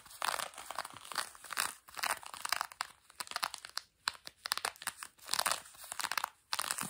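Both hands with long nails scratch the textured fabric of blue denim jeans stretched over a knee. Dry, bright rasping bursts come in uneven strokes, some longer and some quick and choppy, with brief quiet gaps and no low end.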